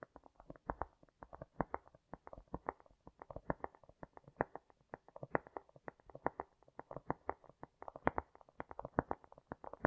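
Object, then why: Cork. A cork is tapped and lightly scratched with long nails, with a heavy echo effect on the sound. Dozens of quick, dull taps arrive in an irregular stream, each a short burst of low-mid tone cut off sharply above the upper mids, mixed with soft scratching between them.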